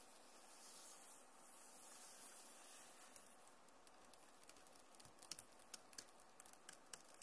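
Fingers rub across the plastic keys of a backlit Acer laptop keyboard, making a soft, steady scratchy hiss for about three seconds. Then they type on the keys, producing a scattered series of quiet, sharp, high clicks that stop instantly.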